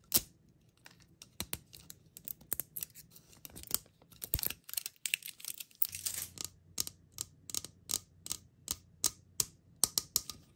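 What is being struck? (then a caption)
Hollow plastic toy capsule. A round, palm-sized, hollow teal plastic Stitch mystery capsule with a printed label is turned in the hand while long acrylic nails and fingertips tap and click on it and press at its seam. The result is a quiet, steady run of sharp, dry, bright plastic clicks and taps that die away almost instantly, over a faint low hum.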